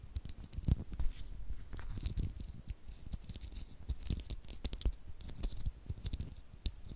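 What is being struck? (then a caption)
9-volt battery with metal casing. A small, solid 9-volt battery with a copper and black metal-wrapped casing is held in the fingers just above a stereo microphone while fingertips and short nails rub, scratch and tap its sides and terminals. The result is a quiet, steady stream of dry, close-up taps and scratches, with soft low thumps under sharp, bright clicks that die away instantly.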